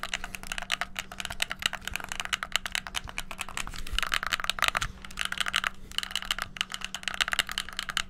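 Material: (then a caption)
Plastic. Fingertips and thumbs rapidly press the black buttons and d-pad of a hollow white plastic gamepad. The result is a dense, continuous stream of sharp, bright plastic clicks and clacks that die away almost instantly, over a faint steady low hum.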